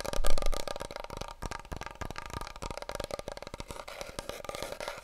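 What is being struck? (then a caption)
Large cardboard paper roll tube. Fingertips and nails tap rapidly on a wide, hollow, empty cardboard paper roll tube, held diagonally and then horizontally. The result is a fast, continuous patter of short, dull, hollow thumps with a deep, boomy body and little brightness, loudest at the start.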